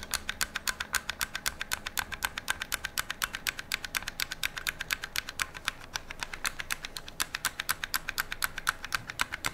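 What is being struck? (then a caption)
Rifle with metal receiver and polymer parts. Fingernails tap and scratch the metal receiver of an AR-style metal and polymer rifle with a metal handguard, held on a lap. Quick, crisp, bright clicks come about four times per second in a loose, uneven rhythm. Each tap dies away almost at once over a soft, steady background.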